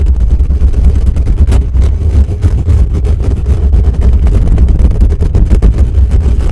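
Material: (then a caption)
Metal mesh. Fingertips of both hands rapidly scratch and tap the hollow metal mesh dome grille of a desktop microphone. The result is a dense, continuous stream of deep, boomy rumbles and muffled thumps with almost no high-end content.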